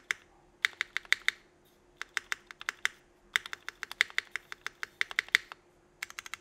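A 65% mechanical keyboard with red and black GMK ABS plastic keycaps, Cherry Vintage Black switches and an aluminum plate is typed on: one fingertip presses single keys and the spacebar, then both hands type. About 35 short, sharp clacks come in bursts, bright and clicky with a steady low hum underneath.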